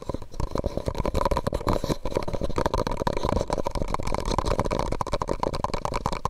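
A medium white disposable plastic cup, hollow and empty, is held over the microphone and tapped and scratched with fingertips and nails. The result is a fast, continuous stream of dull, hollow, low-heavy taps mixed with soft scratching, and each tap dies away almost at once.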